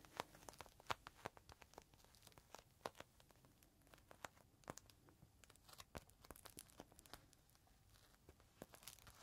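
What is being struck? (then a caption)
Plastic zip bag with cloth inside. Fingertips of a bare hand and a dark gloved hand squeeze and rub a small clear plastic zip bag, held edge-on, with a folded green microfiber cloth inside. Quiet, sharp plastic crinkles and crackles come in quick, irregular bursts throughout, with bright, crisp snaps over a soft rustling bed.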